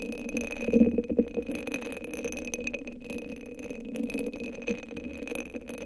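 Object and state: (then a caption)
Rhinestone-covered cylinder sleeve, scratched and tapped. Long acrylic nails scratch and tap a hand-sized hollow cylinder covered in purple rhinestones, sitting on top of a microphone. The result is a dense, irregular stream of small rattling clicks and scrapes, loudest near the start, over a faint steady high tone.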